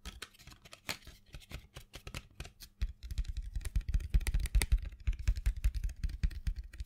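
A small printed cardboard box full of colored pencils is held in the hand and tapped and scratched with long fingernails. Quick, dull taps and dry scratching come in an uneven rhythm with short bright ticks. The tapping grows louder and thumpier from about three seconds on.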